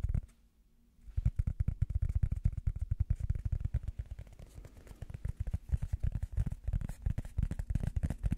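Rubber foam is tapped rapidly with the fingers as an ASMR tapping trigger. After about a second of near silence, a dense run of soft, dull, low thuds follows, each dying away almost instantly, with no ring or high-frequency content.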